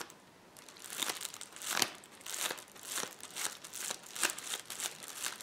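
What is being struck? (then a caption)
Plastic bubble wrap roll. A rolled sheet of clear plastic bubble wrap is scratched and pressed with fingertips and nails. It gives a dense, bright crinkling with sharp crackles and pops rising in bursts, and almost no low end.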